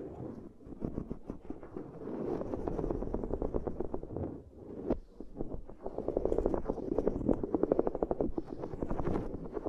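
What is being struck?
Ridged silicone pad.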